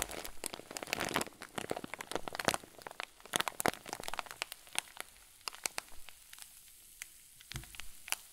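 A clear zip plastic bag full of white fluffy stuffing is wrung and squeezed with both fists, giving off dense, bright crinkling with sharp crackles. The crackling is busiest in the first few seconds and thins out to scattered pops and snaps toward the end.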